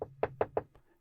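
A wooden closet is knocked on for the "knock on wood" superstition. Four short, dull knocks land in quick succession, centered around 440 Hz with almost no ring, followed by a fainter fifth tap as they die away.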